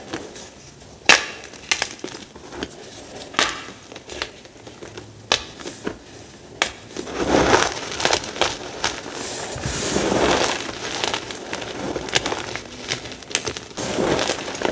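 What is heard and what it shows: Fingertips with short painted nails squeeze, crush and rub a heap of small, dry, crumbled pale green-white gym chalk (magnesium carbonate) chunks. Sharp, bright crunches and crackles stand out over a steady gritty rustle that thickens into denser grinding in the middle.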